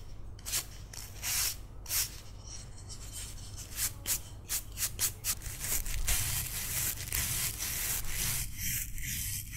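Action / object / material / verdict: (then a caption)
scrape / carved wooden figurine scrubbed with a toothbrush / wood / none. A solid, carved wooden cat figurine, held in one palm, is scrubbed with a green toothbrush, including between the ears. Short, bright, bristly scrubbing strokes come in quick bursts, then merge into a steadier, denser rasp toward the end over a faint low hum.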